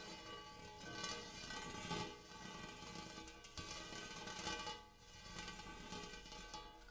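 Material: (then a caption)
Metal. Fingertips tap and scratch the dimpled inner surface of a large, shallow, empty gold hammered metal bowl. Soft taps ring out with a steady metallic tone near 1150 Hz and bright, shimmering overtones that hum for about a second, while scratching adds a faint hiss between the strikes.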